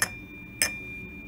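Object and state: Flint glass that rings when set down.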